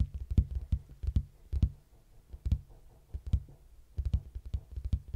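A large, hollow red cardboard box, standing on its edge beside the mic, is knocked and tapped on its flat side with fingertips. Quick, dull, low thumps fall in uneven clusters with short pauses between them. Each hit dies away almost at once, with only a faint papery click on top.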